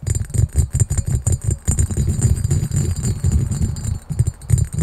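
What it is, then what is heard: Cut glass carafe. A clear, hollow, empty cut-glass carafe with a diamond pattern is held in both hands and quickly tapped and scratched with fingertips and nails. The result is a rapid, continuous run of dull, low thuds with light, bright scratchy ticks on top, and the hits blur together with little ring.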